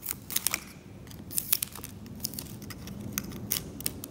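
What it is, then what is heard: Varnish scraped from an oil painting. A metal scalpel continuously scrapes varnish from the varnished surface of an oil painting along the cleaned boundary, lifting off flakes of varnish. The sound is a run of dry, bright scratches and sharp ticks over a low, soft rustle, with quick irregular strokes that stop dead without ringing.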